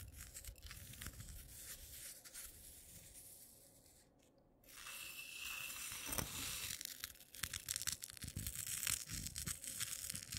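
Fingertips with long natural nails pinch, rummage through and drop loose, dry instant coffee granules spread on a dark clay plate. The result is a dense, bright, gritty crackle of tiny irregular ticks and rustles. It fades to a soft hush midway, then returns louder and more scattered.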